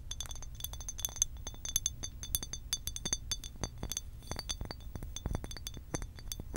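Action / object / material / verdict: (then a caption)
tap / glass water bottle / glass / none. Long pink acrylic nails tap rapidly on a hollow blue glass water bottle with a cap. The result is a dense, steady run of short, bright glassy clinks with high ringing overtones, over a faint low rumble.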